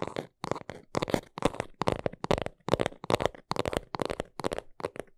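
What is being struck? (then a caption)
Small cardboard box. Long nails scratch and tap the sides of a small brown cardboard box held in both hands. Quick clusters of dry, scratchy taps centered in the midrange come in rapid bursts separated by brief silences, each sound stopping almost instantly with no ring.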